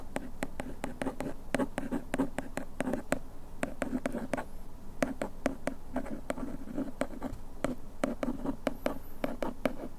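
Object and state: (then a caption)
Cardboard bandage box. A bamboo ear pick scratches over the printed text on the back of a small printed paperboard bandage box held in the hand. The result is a steady run of short, dry, scratchy strokes with a soft low body and bright, crisp edges over a quiet background.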